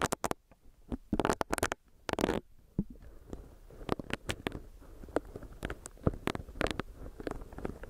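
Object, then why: Silicone face scrubber. A small, solid pink bunny-shaped silicone facial brush is tapped on its body with long nails, and its bristles are pressed and rubbed against the mic. Many quick, sharp taps and squishy, rubbery crackles are heard over a soft, low rustle, with a few louder bursts in the first couple of seconds.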